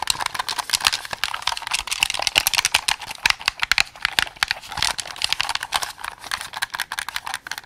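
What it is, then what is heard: Plastic game controller buttons. Fingertips rapidly press and click the buttons and triggers of a white and black hand-held plastic Xbox game controller with a hollow shell. The result is a dense, fast stream of dry, bright, typing-like clicks with almost no low end. Each click stops instantly with no ring.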